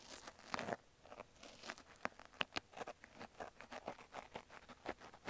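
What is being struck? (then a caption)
Foam kitchen sponge with scrub layer. A thin wooden-handled pick scratches and pokes inside the slit of a pink wavy foam kitchen sponge with a green scrub layer, cut into an ear shape and held by fingers with nails. A quiet, rapid series of dry, crunchy scrapes and crinkly ticks is heard, each very short with almost no ring. The sound sits mostly in the mid and high range with little low end.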